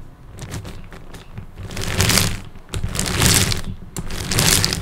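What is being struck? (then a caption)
Large plastic puzzle cube. Fingertips resting on the top face of a large multi-layer plastic puzzle cube, with many small colored tiles and a hollow mechanism inside, tap out a few light, sparse clicks at first. Then three swelling bursts of dense, bright plastic clicking and rattling follow, each with a low hollow rumble underneath and fading quickly between bursts.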